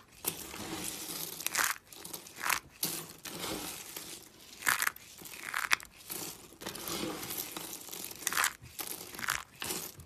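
A pile of small orange and green dry soap flakes is squeezed and crumbled between fingers with painted nails. Dry, bright crunching and crackling comes in bursts, with louder crisp squeezes standing out over a steady gritty crumble.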